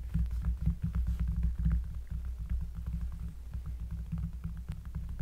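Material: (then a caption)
Cork. Long dark-polished nails and fingertips of both hands trace and lightly brush across a thick, solid, round cork board, a trivet or large coaster, lying on a table. The result is a steady deep, bassy rubbing rumble with faint, scattered light ticks over it, louder in the first two seconds and then a little softer.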